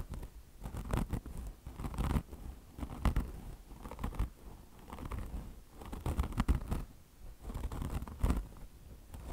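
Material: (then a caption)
Fabric mesh, foam. Long blue nails deeply scratch a beige car wash sponge with a mesh top, chenille fringe and soft foam body. The result is continuous, dense rustling and scratchy crackling in uneven, swelling bursts, with its weight sitting low and soft.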